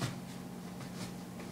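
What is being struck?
Nothing is struck.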